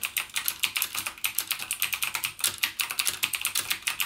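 Fingertips type continuously and rapidly on a backlit plastic mechanical keyboard with clicky Cherry MX Blue switches. A steady stream of sharp, bright clicks comes through, with almost no low end and each click dying away almost instantly.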